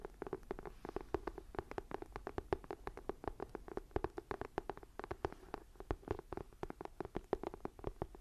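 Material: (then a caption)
Faux leather. Long nails and fingertips tap and scratch the textured leather-look cover of a closed, thick, solid dark green ring-binder journal. A quick, steady run of short, dry clicks with a soft midrange knock rises over a faint scratchy hiss, each tap dying away almost instantly.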